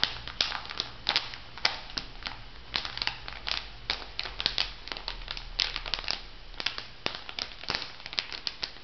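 A plastic-wrapped makeup sponge pack on a paper card is squeezed and crinkled by fingers, then laid flat and rubbed with the fingertips. Dense, bright crackling snaps pop in quick irregular bursts over a faint low hum, each crinkle dying away almost at once.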